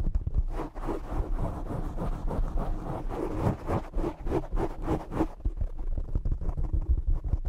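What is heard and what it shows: Both hands cup, rub and scratch the black foam cover of a desktop microphone with their fingertips, producing a dense, rough, muffled scratching with a heavy low rumble. Quick bursts of bright hiss ride on top until the last couple of seconds, when the rubbing turns duller and more thumping.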